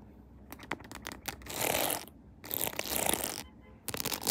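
Long nails tap quickly on a mounted phone in a clear plastic case decorated with pearls and rhinestones, hitting both the case and its embellishments. Sharp, bright clicks come first, then run together into dense, scratchy rattling bursts separated by brief pauses.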